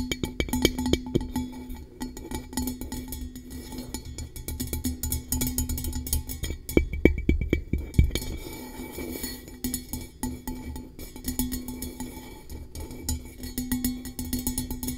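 A blue-coated hollow metal tumbler held over a microphone is tapped and lightly scratched with long nails. The result is a fast, uneven stream of short, dry taps with a low hollow body and brief clinks, mixed with soft scratching.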